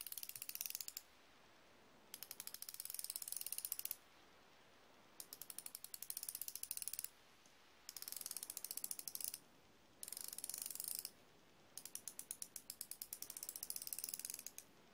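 A solid chrome steel flexible-head ratchet wrench is turned and flexed by fingers, producing bursts of rapid, bright ratcheting clicks. The clicks come in about six runs, each lasting roughly one to two seconds and separated by short quiet gaps.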